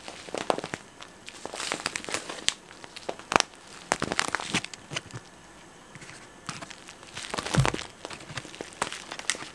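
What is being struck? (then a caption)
Flexible plastic snack packet. A flexible, hollow, yellow printed plastic snack packet, twisted at the top, is crinkled and squeezed with the fingertips right next to the microphone. Bright, crackling crinkles come in uneven bursts, each snap dying away almost instantly. A quieter pause falls near the middle, and the rustling then picks back up.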